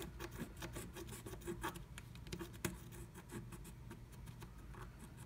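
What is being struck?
Wax-coated scratch art paper scraped with a wooden stick.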